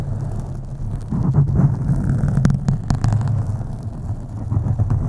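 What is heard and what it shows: Long acrylic nails scratch slowly across the top and sides of a black foam microphone windscreen. The result is a deep, muffled rumbling scrape with soft brushing crackles and a few brief sharper scratches.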